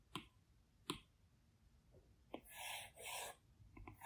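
A plastic Apple Pencil tip works on the large, flat glass screen of an iPad Pro. Three sharp, isolated taps ring out over a quiet background, followed by two longer, bright, scratchy strokes across the glass and a few light ticking taps at the end.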